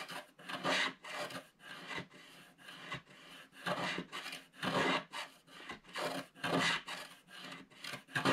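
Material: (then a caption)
Coated card. A wooden stylus scrapes continuously across a flat black-coated scratch art card held by the fingertips of one hand, clearing the black wax layer from the top. The result is a series of dry, bright rasping strokes with an irregular rhythm, each swelling and fading with short gaps between them.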